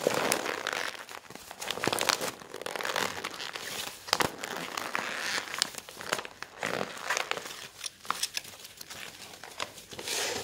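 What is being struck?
Glossy paper brochure.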